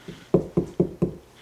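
A homegrown watermelon is knocked on four times, each a short, hollow, low thud with a brief decay. The knocking is the way ripeness was once judged in the grocery store.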